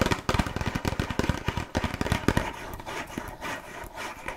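A small, closed red printed cardboard box of burger cookies, hollow with contents inside, is scratched and rubbed with long nails. The result is a quick, irregular run of dry scratches and taps. They are denser and sharper in the first half, then thin out into softer rubbing.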